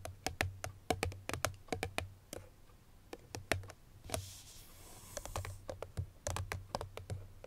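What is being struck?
Small paperboard perfume box with bottle inside.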